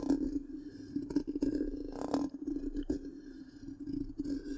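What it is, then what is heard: Scratching a metal mesh microphone grille. The tip of one long pink nail scratches the black, round metal mesh grille of a large, hollow microphone. Quick scratchy bursts rise and fall over a steady, low, humming tone near 280 Hz. Brief louder rasps stand out along the way.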